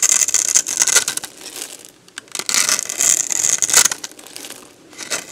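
A box-cutter blade scrapes crumbly shavings off a solid, dried, hand-sized yellow bar of soap. Bright, crisp crunching and scraping comes in bursts, with quieter gaps between the passes.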